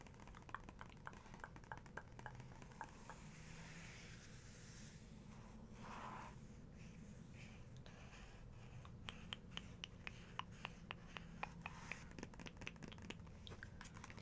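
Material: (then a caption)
Paper. Long pink acrylic nails and fingertips trace and tap across a glossy printed paper page of a large hardcover photography book lying open. Quiet, soft scratchy swishes of tracing mix with sharp, dry nail clicks that die away instantly, with a steady low rumble underneath.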